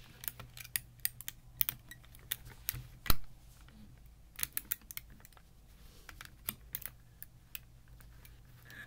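Fingertips fold and flip the thin hinged clear plastic tiles of a small folding puzzle, printed with red-yellow rings, on a terry towel. Many light, crisp clicks sound as the tiles meet, with one louder snap near the middle, over a steady low hum.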